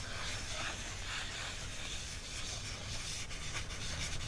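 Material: Paper.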